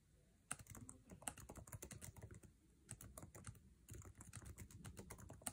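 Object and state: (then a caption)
Laptop keyboard, fast typing. Fingertips tap quickly across the plastic keycaps of a MacBook Air keyboard set in an aluminum chassis while typing. The result is a dense run of short, sharp clacks with bright click tops over a low thud. A few louder strikes stand out, and there are brief pauses near the start and midway.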